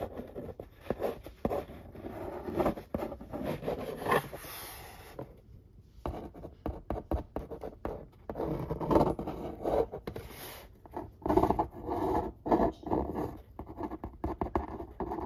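A marker pen tip scratches and traces the printed lines on the lid of a large, flat corrugated cardboard pizza box. It makes dry, rasping strokes in quick bursts, with a brief near-silent pause partway through. The sound sits mostly in the mid range and has little bright content.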